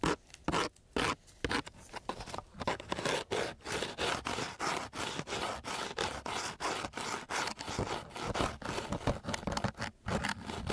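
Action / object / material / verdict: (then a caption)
scrape / coarse sandpaper sheet scraped with a wooden stick / sandpaper / none. A flat wooden stick laid along a flat, gritty coarse sandpaper sheet is scraped back and forth in quick, repeated strokes. Each stroke makes a dry, broadband rasping scratch with a bright, gritty edge, separated by brief near-silent gaps. The scraping keeps up a steady rhythm throughout.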